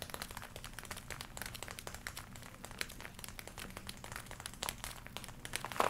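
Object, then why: Leather jacket. Long nails scratch and rub across the chest and upper arms of a glossy black leather jacket being worn, making dense, quiet crinkling and scratching. Many short, bright crackles ride over a faint low hum, with a slightly louder rustle near the end.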